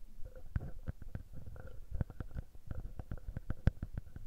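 A small metal mesh microphone capsule on a Tascam handheld recorder is pinched and rubbed between the fingertips. Close, deep, muffled thumps and rubbing scrapes crowd the mic in quick irregular bursts. A faint buzzing tone sits underneath.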